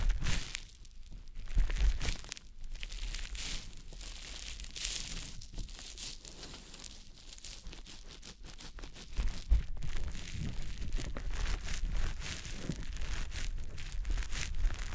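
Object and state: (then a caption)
Wet konjac sponge puff. A small, soft, porous green konjac facial puff, damp, is held in the fingertips and rubbed and pressed against the silicone ear of a dummy-head microphone. Over 15 seconds it gives continuous close, wet squishing and crinkling rubs with faint crackles across the high range. A low rumble sits underneath, and the squishing grows somewhat louder in the second half.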